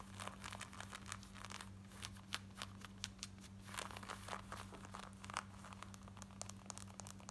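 Long nails scratch quickly along the waistband and front of worn black denim jeans on the body, making a rapid series of short, bright, rasping strokes. A steady low hum runs underneath throughout.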